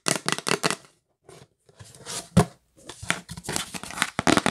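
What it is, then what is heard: Cardboard gift box tapped with nails. Long acrylic nails tap fast on the lid of a rigid, hollow yellow printed L'Occitane cardboard gift box held in the hands. Quick bursts of bright, clicky taps with a hollow papery knock come in clusters separated by short silences. Each tap dies away almost instantly.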